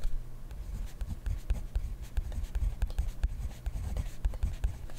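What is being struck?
Pen on paper notebook.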